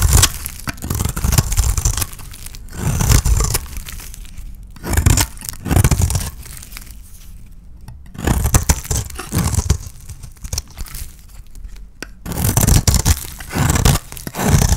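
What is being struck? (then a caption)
Soap bar scraped with a knife blade. A utility knife blade scrapes and shaves the surface of a palm-sized, oval, mint-green painted solid dry soap bar held in the hand, cutting it into flakes. Dry, crunchy scraping comes in bursts with quieter, fainter scratching between them. The low, thudding body of the sound is edged with a bright, papery crackle.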